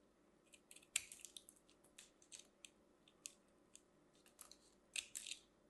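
A metal craft knife carves and scrapes a small orange and white ball of compressed soap shavings held in the hand; the ball is solid and crumbly. The clip is a quiet run of short, dry, bright crunching and scraping bursts with almost no low end, as crunchy flakes are cut off.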